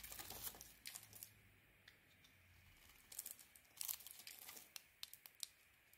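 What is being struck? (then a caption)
Soap bar cut with a knife blade. A utility knife blade carves into a white soap bar with a blue coating. Quiet, bright crackling and crumbly scraping come in short bursts, with sharp little cuts that stop quickly between softer stretches.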